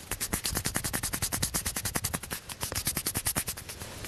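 A small, hollow orange plastic table tennis ball held in the fingers is tapped and scratched rapidly with fingertips and nails. About 35 sharp, dry clicks follow each other in a quick, steady run over four seconds. Each click is bright with a short, hollow knock and dies away almost instantly.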